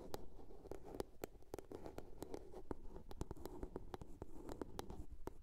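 Long nails tap and scratch the top and sides of a small hollow blue plastic box. A quick, irregular run of short, dry clicks sits over a low, hollow knock, with soft scratching filling the gaps.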